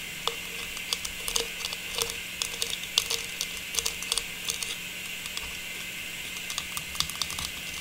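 A small hollow, faceted star tree topper of silver metallized plastic, with a stem, is held upright and tapped with long pink nails. It gives a quick, uneven run of short, bright clicky taps, each dying away almost at once, over a steady high hiss. The tone sits mostly high, centred near 3.4 kHz, with almost no low end.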